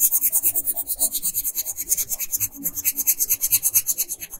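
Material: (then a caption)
Paper. A pink wooden colored pencil scratches and rubs across a flat paper coloring page, filling in the area around a bodice and brooch. About thirty quick back-and-forth strokes make a steady, bright, hissy rasp with almost no low end, each stroke cutting off sharply.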